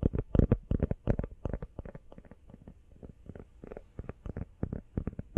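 Long nails tap quickly on a small, hollow, empty teal rubber phone case held sideways in both hands. About 27 dull, muffled taps land in an uneven rhythm, each a short, low thud that dies away almost instantly.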